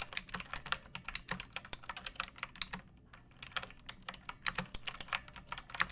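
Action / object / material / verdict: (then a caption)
tap / plastic mechanical keyboard / plastic / none. Long painted nails and fingertips type on a pink plastic mechanical keyboard with round backlit keycaps and a hollow body resting on a wooden surface. A rapid run of sharp, bright clicky keystrokes pauses briefly around the middle, then resumes. Each clack is crisp and dies away almost instantly, with a light hollow thump underneath.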